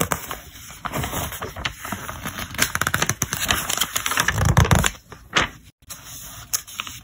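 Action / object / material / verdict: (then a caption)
scrape / thick paper catalog / paper / none. Fingertips rub along and turn the page edges of a thick paper catalog lying open flat, including its yellow tab pages. A dense, crackly rustle of dry paper is broken by many sharp, bright page flicks and snaps, with a heavier low-pitched flutter as a page turns over. The sound briefly drops out before quieter rubbing resumes.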